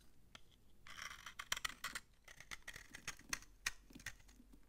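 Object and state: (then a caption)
Dry bar soap. A utility knife blade scrapes crunchy shavings off the edge of a solid, old, dry orange bar of soap held in the hand. The quiet, bright scraping is broken by a rapid series of sharp, dry crackles and snaps that die away almost instantly.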